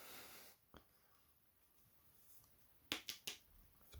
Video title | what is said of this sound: some of my favourite carboot buys | sounds plasticky but it's hollow in the middle made of wood got plastic on the top